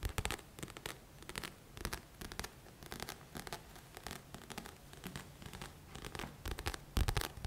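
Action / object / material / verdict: scrape / paperback book with glossy cover / paper / none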